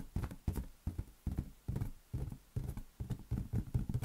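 Fingertips tap a large, hollow, air-filled green latex balloon held in one hand, producing a string of soft, hollow, low thumps. The taps come at an uneven pace, each a dull, muffled bump that dies away almost at once.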